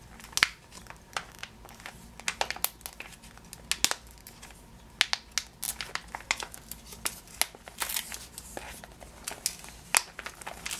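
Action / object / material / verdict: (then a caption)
scrape / plastic bag of sugared almonds / plastic / none. Fingernails scratch and fingers crinkle a full clear plastic bag of yellow sugared almonds, first on the label side and then on the front. Dense, bright crackles and sharp clicks come in quick, uneven bursts over a quiet, steady low hum. Each snap dies away almost instantly.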